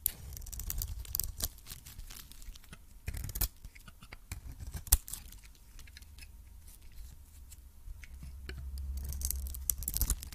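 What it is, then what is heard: Coated soap bar scraped with a blade. A hand-held cream solid soap bar with a red coating has its surface scraped by a metal blade. The result is a run of dry, crisp scratching and flaking sounds with short, bright clicks, including a sharp peak near the five-second mark. Beneath it sits a low, steady rumble that swells toward the end.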